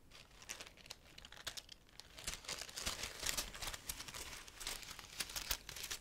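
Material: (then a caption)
Leaves. A graduation wreath of fresh-looking green bay laurel leaves is held close to the mic while fingertips and long nails rub and crinkle the leaves. Dense, bright, dry crinkling and rustling is broken by many sharp little crackles, with almost no low end.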